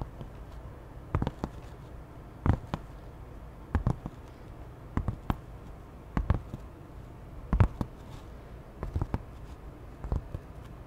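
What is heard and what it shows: A cream canvas tote bag with a butterfly print is held up and scratched with long nails. Short, dry scratching bursts come in small irregular clusters over a quiet, low background hiss, each stroke crisp and quickly fading.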